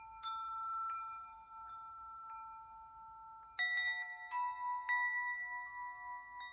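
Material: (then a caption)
Metal. A metal tube wind chime with hanging hollow metal tubes is flicked and knocked by fingertips, producing clear, sustained ringing tones that overlap and decay slowly. The first few strikes are soft and sparse, then a louder cluster of knocks around the middle brings brighter, layered tones centered near 2 kHz that ring on to the end.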